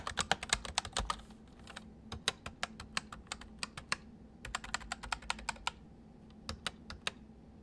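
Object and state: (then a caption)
Plastic mechanical keyboard. Fingertips of both hands type on a white full-size MSI plastic mechanical keyboard with hollow keys. Quick bursts of sharp, bright clicks and clacks with pauses between them play over a faint steady low hum, each keystroke dying away almost at once.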